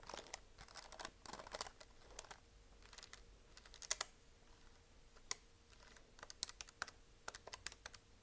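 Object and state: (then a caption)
Plastic desk calculator. Long nails tap rapidly on the keys of a hollow plastic desk calculator, then on its plastic back casing. The taps are quick, dry, bright clicks with almost no ring, coming in uneven bursts over a quiet, faint steady hum.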